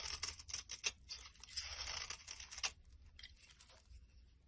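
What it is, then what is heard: Soap bar being scraped. A blade scrapes and carves the scored orange top layer off a solid brown soap bar held in the hand, breaking it into crumbly shavings. The sound is a run of quick, dry, bright scraping and crackling strokes with little low end, then a softer, quieter scrape that fades out.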